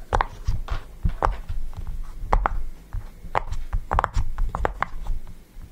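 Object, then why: Silicone pop-it fidget toy. Fingertips press and pop the hollow bubbles of a yellow round silicone push-pop fidget toy resting on a table. Soft, short, muffled pops come in an uneven series, each a brief low thump with a faint midrange snap and almost no ring.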